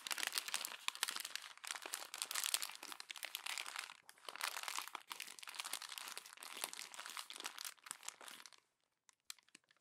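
Fingers with long nails crumple and squeeze the thin pages of a glossy paper magazine, making dense, bright crinkling and crunching that runs almost without pause for about eight and a half seconds. The sound then drops to near silence, with only a few faint crackles in the last second.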